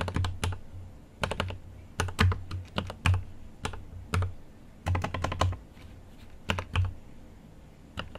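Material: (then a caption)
Plastic. A GMMK Pro mechanical keyboard with an aluminum case and plastic keycaps is typed on with fingertips, giving continuous bursts of crisp, bright key taps over a deep, thocky low thud. The strokes come in quick clusters separated by short pauses, each tap decaying almost at once.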